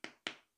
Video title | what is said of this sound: Huawei P30 pro one month later | it sounds solid